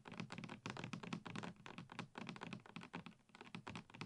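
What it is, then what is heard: Full plastic shampoo bottle. A medium dark plastic Gliss shampoo bottle, hollow and apparently full, is held in both hands and tapped rapidly with fingertips and long nails. The taps come as a quick, uneven stream of soft, thunky knocks with a hollow body around 200 Hz and a light clicky edge from the nails. Each tap dies away almost at once.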